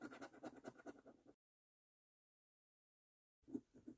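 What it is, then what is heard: Paper lottery scratch card being scratched. A coin held in the fingertips scratches the latex coating off the YOUR NUMBERS row of a thin, flat printed cardboard £1 million National Lottery "Bank The Cash" scratch card lying on a table. Quick, gritty scratching strokes run for about a second and a half, then stop for two seconds of silence before a few more strokes resume.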